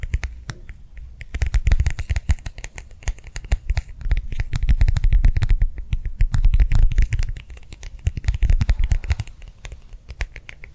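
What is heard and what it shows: Fingernails tap and scratch rapidly across the surface of a small, round, flat, clear plastic hand warmer pad, a liquid-filled pouch held in both hands. Dense, irregular clicks and soft low thuds run throughout, with brief scratchy bursts between busier stretches.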